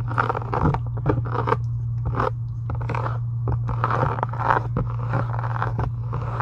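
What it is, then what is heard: Faux leather journal cover. Long acrylic nails scratch along the edges and embossed texture of a solid, pink, embossed faux-leather journal cover. Short, dry scratching bursts repeat in quick succession, mostly in the mid range with some bright edges. A steady low hum runs underneath throughout.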